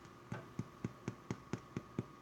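A freshly baked loaf of homemade white sandwich bread, just out of the oven with a golden brown crust, is tapped on the crust nine times at a steady pace. Each tap gives a short, dull, hollow thump centered low around 130 Hz that dies away almost instantly. The hollow sound indicates the loaf is baked through.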